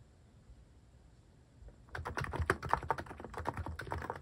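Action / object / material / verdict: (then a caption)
tap / mechanical keyboard with plastic keycaps / plastic / none. After nearly two seconds of near silence, fingertips type quickly on a cream mechanical keyboard fitted with sculpted plastic cat and paw keycaps. The keys give dense, irregular, short clacks with a clicky tone around 900 Hz and some low thump, each dying away almost at once.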